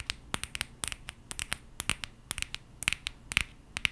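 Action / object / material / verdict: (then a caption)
tap / aluminium coffee capsule / aluminium / none. A small gold and green aluminum coffee capsule is held in both hands and scratched and tapped with long painted nails. Quick, irregular clicks and scrapes come through bright and thin, with tiny metallic pings near 2.4 kHz. Each click is dry and dies at once over a faint low hum.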